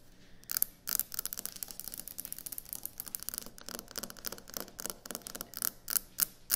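Long nails tap and scratch quickly on a solid white speckled quartz kitchen countertop. The result is a rapid, irregular stream of bright, dry clicks and scrapes that stop short with almost no ring, with a few sharper, louder taps near the end.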